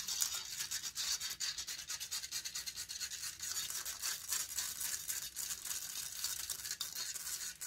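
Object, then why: Metal mesh microphone grille. Long nails rapidly scratch the hollow metal mesh grille of a silver condenser microphone. The result is a continuous, dense, bright scratching hiss of quick, sharp strokes, with almost nothing in the low end and each stroke dying away almost instantly.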